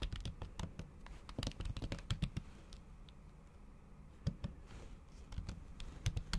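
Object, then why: Laptop keyboard with plastic keyboard cover. Long acrylic nail tips tap fast and repeatedly on a MacBook keyboard fitted with a thin pink patterned plastic/silicone cover over its solid keys. The result is quick bursts of short, dry clicks with a dull low thud. The typing runs in clusters, with a quieter stretch in the middle before resuming.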